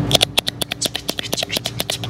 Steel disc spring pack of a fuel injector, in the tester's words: It must sound like this when you shake it up, even when it's new